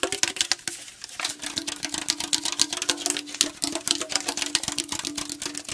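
Fingernails and fingertips tap quickly across the body of a tall aluminum tea can, making a rapid, uneven stream of bright, sharp clicks that die away almost instantly. A faint, steady metallic hum rings underneath the taps for most of the clip.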